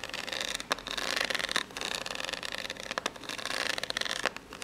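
Long natural fingernails painted pink scratch and tap along the ribbed surface of an upright, seemingly empty, hollow corrugated cardboard box. The result is a steady, bright, raspy scratching with almost no low end, broken by a few sharper, dry taps that stand out above the texture.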